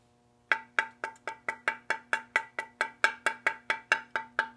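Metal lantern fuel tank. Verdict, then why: Sound. Eighteen quick taps on the underside of a vintage Coleman lantern's rusty steel fuel tank, which has been sealed inside with sealant as a precaution, each giving a bright, short metallic clink with a tone near 900 Hz over a faint steady hum. The clear ring indicates the tank is rusty but not corroded; a corroded tank would give a dull thud.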